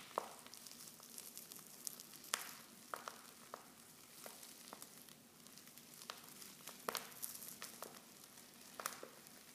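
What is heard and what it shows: Fingers with long nails crinkle a silver foil Pickwick tea pouch, half full of loose tea leaves and open at the top. The result is a quiet, steady bright crinkling, broken by sharp, quickly fading crackles and almost no low-end sound.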